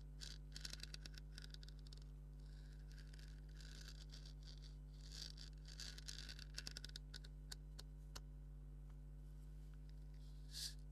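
A hollow black stitched leather maraca is scratched with fingernails over the leather and the stitching. The result is quiet, dry, bright scratching and scraping in quick bursts, over a steady low hum.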